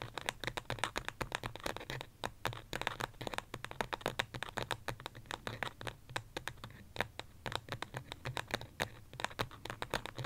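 Long fingernails tap and scratch quickly on the side of a small white pot, probably ceramic, that holds an artificial succulent. A dense run of sharp, dry, bright clicks mixes with scratchy rasping and dies away almost instantly. A faint low hum sits underneath throughout.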